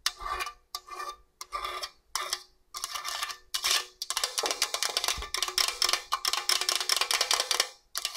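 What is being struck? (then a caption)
Stainless steel box grater. Long orange nails rub and scratch along the long blade slots of the slicer face and the smooth steel of a hollow stainless steel box grater. Short, bright, raspy scrapes start in separate bursts with brief silences, then speed up into a dense, near-continuous run of quick metallic scratches. The sound has almost no low end and very little ring before it stops.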